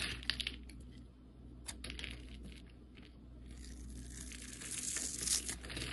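A utility knife blade slices small cube flakes off a solid turquoise embossed soap bar, pre-scored into a grid and held in the hand. The result is a series of crisp, bright cutting and scraping clicks at an irregular pace, over a faint, steady low hum.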